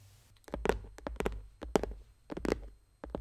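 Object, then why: Hard plastic pencil case. Long painted fingernails of both hands tap and scratch a closed, hollow, dark blue Spacemaker pencil case, likely hard plastic, with a studded lid, lying flat. Quick clusters of dry, clicky taps and short scratches carry a hollow mid-pitched knock, separated by brief quiet gaps. Each tap dies away almost instantly, leaving no ring.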